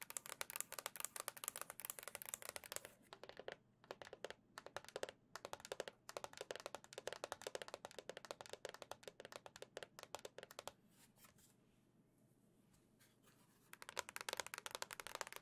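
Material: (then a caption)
Plastic. Long nails tap rapidly across the white plastic back of a Nintendo Switch OLED console with a gold Zelda print, a hollow, tablet-sized device. Bright, crisp clicks come in quick bursts, then stop for a few seconds of near silence before the tapping resumes near the end.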